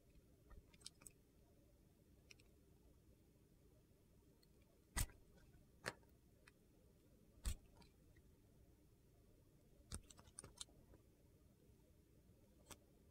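A metal utility knife blade carves, scraping and slicing, into a solid oval bar of clear glycerin soap with colored cubes, held in the hand. Short, sharp crisp clicks and scrapes come at irregular intervals over a quiet, low background hum.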